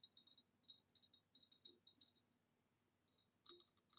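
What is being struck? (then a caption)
Glass vase. Fingertips or nails tap on a green retro glass vase in quick, clustered bursts, giving bright, high, short-ringing clicks and light rattles. A brief quiet gap falls between the taps before they resume.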